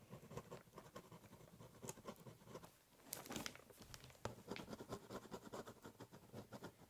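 A ballpoint pen tip scribbles and scratches short strokes across the top of a large corrugated cardboard box. The rapid, quiet scratching patters in bright, papery bursts, pausing briefly before a longer, rougher scribble and then returning to quick strokes.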